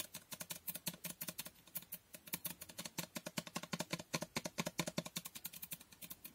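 Long nails rapidly tap the sides of a glass Toko Aroma fragrance bottle with a pink label. The result is a fast, steady stream of about 49 short, crisp clicks, each bright at the top with a faint low body. The taps die away almost instantly with no lingering ring.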